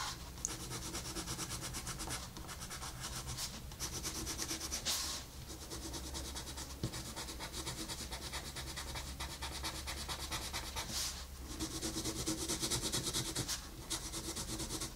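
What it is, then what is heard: Colored pencil shading on paper. A wooden colored pencil rubs and scratches across a flat paper coloring book page while shading, making a steady, bright, papery scratching with a quick back-and-forth rhythm. The strokes vary in pressure, with a few brief louder, brighter swells, over a faint, steady low hum.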